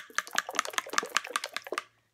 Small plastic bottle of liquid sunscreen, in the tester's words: this one is very runny I'm going to shake it you can hear